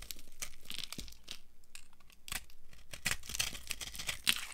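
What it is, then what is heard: Dry soap bar carved with a knife. A dry, beige solid soap bar is carved and chunked with a metal knife, and crumbly pieces break off it. Repeated dry crunching and scraping strokes crackle with bright, gritty texture. Several sharper cracks stand out near the end.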